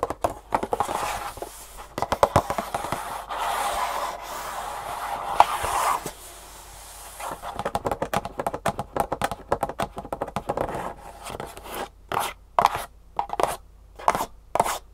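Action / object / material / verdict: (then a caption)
tap / cardboard box / cardboard / none. A rectangular, printed green cardboard shoe insole box, hollow and held tilted in one hand, is tapped and scratched with long natural fingernails. Dry scraping rasps mix with sharp, quick clicks in the midrange. Toward the end, fast tapping comes in short, separated bursts.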